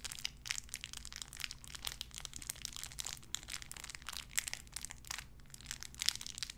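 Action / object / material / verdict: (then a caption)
scrape / thin clear plastic bag / plastic / none. A small clear plastic bag wrapped around a tiny white figurine is crinkled and squeezed between fingertips with long red nails. Dense, bright crackling crinkles run steadily throughout, with quick sharp snaps over a faint low hum.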